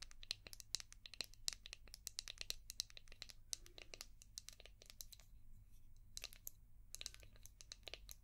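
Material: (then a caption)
Hard plastic. Long painted nails tap and scratch a palm-sized, translucent orange hard plastic brush shaped like a seashell, with a ridged back. The result is a quick, irregular stream of sharp, bright clicks and crinkly scratches over a steady low hum, each hit stopping almost instantly.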